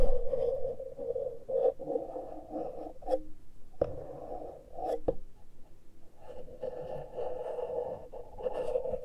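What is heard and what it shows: Fingertips and long nails scratch and rub the exposed X/Y metal-grille microphone capsules of a small handheld Tascam recorder with no foam cover. A close, rasping scrape is heard, with a steady midrange tone around 500 Hz and heavy low rumble from handling. Brief sharp clicks break in near 4 and 5 seconds before the rubbing continues.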